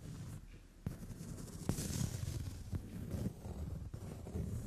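Long French-tip nails tap and brush across the brown padded leather seat of a sofa. The result is soft, dull, low-pitched taps with short, sharp onsets that die away almost at once, over a quiet, muffled rustle of nails moving on the leather.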